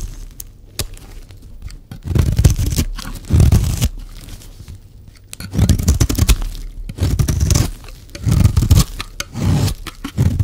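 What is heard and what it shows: A solid, dry pink soap bar is scraped repeatedly with a metal blade, and shavings pile up. The scraping comes in several loud, dense bursts separated by quieter stretches, with a low, gritty body and a faint bright rasp.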